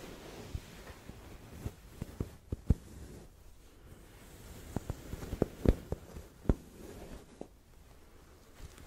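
Long red acrylic nails scratch and rub a large, soft, filled pillow in a white cotton case printed with black cats, held upright and then hugged close. Soft, low fabric rustling runs throughout, broken by brief, sharp nail taps and scrapes that stop almost instantly.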